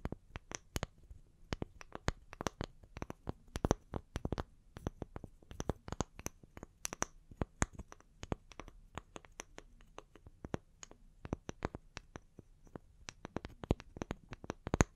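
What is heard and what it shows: Long nails tap and scratch the cut face of a small, solid round wood slice held in one hand, while a second identical slice is held in the other. The result is a quick, irregular stream of dry, sharp clicks that die away almost instantly, with faint bright scratchy edges over a soft low rumble.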